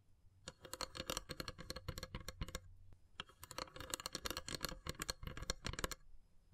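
Long silver nails tap and scratch across the lid of a long, hollow, carved wooden incense box. Quick, dry clicks with hollow low thumps and bright scratchy edges come in two rapid bursts separated by a brief pause near the middle. Each tap dies away almost at once.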